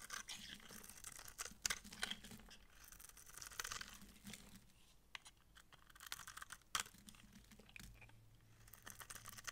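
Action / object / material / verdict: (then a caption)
scrape / soap bar scraped with a knife blade / soap / none. A utility knife blade scrapes layered shavings from the face and edge of a solid, dry, light green massage soap bar held in hand. The result is a quiet, bright, crisp scratching and crackling, broken by sharp, sudden clicks as the shavings break away.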